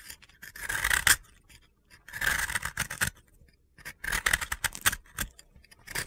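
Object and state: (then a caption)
Dry soap block being scraped. A utility blade scrapes and cuts into a solid, dry blue soap block held in the hand, shaving off crunchy crumbs. Bursts of crisp, gritty scraping and crackling come in clusters separated by short quiet gaps, with a bright, dry texture centered around 1.6 kHz and very little low end.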